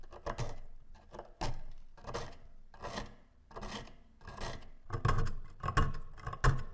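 A gloved hand scrapes rust off the blade and handle of a corroded, rust-covered antique brass-alloy dagger, solid and about hand length, lying on a wooden slice, using a thin pointed metal pick. Repeated short rasping scratches and scrapes come in uneven bursts, with a dull, low-weighted body and little ring after each stroke.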